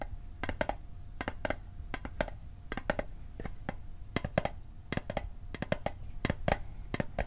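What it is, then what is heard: Hollow metal mint tin. Fingertips tap the side and bottom of a small, hollow, rectangular metal Altoids mint tin held on its edge. The result is a run of short, dry clicks with a faint metallic ping in the mid range, each hit dying away almost at once over a low background rumble.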